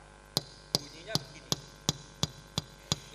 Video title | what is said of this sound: Pedoman Hidup Islami Warga Muhammadiyah Dalam Kehidupan Pribadi (Aqidah, Akhlak, Ibadah & Muamalah) | pen ini bertemu dengan kaca bunyinya begini